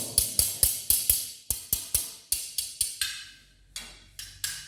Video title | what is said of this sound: #Amazing Techniques to check the sound air gap under ceramic Tiles | This is the hollow sound.